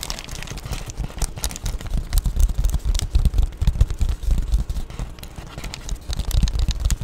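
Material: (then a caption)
Plastic. An empty-looking, flat Amazon Prime padded poly bubble mailer is held in both hands and scratched with long painted nails. The result is a steady run of dense, crackly scratching with a heavy low rumble underneath and quick bright plastic rasps flickering throughout, swelling louder in the middle before easing and picking up again at the end.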